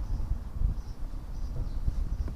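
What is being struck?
Nothing is struck.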